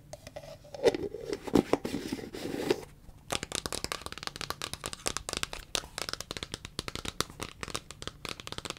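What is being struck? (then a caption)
Plastic cream tub. Long fingernails scratch and tap a large, hollow white plastic Cetaphil cream tub with a green plastic lid and a paper label. The first three seconds are a rough, rustling scratch with a warm midrange body. After a brief pause, a rapid run of sharp, bright, clicky taps follows, each dying away almost instantly.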